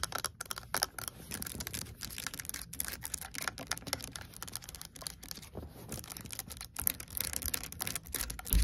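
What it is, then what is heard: Plastic water bottle lid. Long acrylic nails tap and scratch the hard plastic flip-top lid of a large pink water bottle with a fabric sleeve and carry strap. Fast, dense clicks and bright scratching run continuously with no gaps, each tap sharp and dry with almost no ring, over a low rumbling background.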